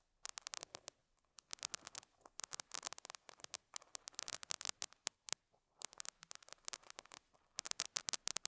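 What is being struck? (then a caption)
Felt pad scratched by a metal dental pick. A metal dental scaler hook scratches and picks at a small square beige felt pad resting on a lapel mic. The result is a rapid run of dry, bright scratches and crisp ticks that die out instantly, with almost no low end. Brief pauses break the run before it resumes in dense bursts.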